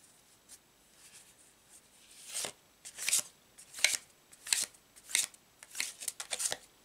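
A full deck of thin laminated paper tarot cards with a blue checked back is held in both hands over a cloth-covered table and riffled and shuffled with the fingers. Faint ticks give way to a run of crisp, high, papery riffling bursts that come at a loose, uneven pace. There is almost no low end and each burst cuts off quickly.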